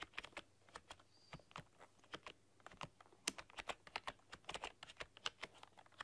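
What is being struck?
Plastic computer keyboard.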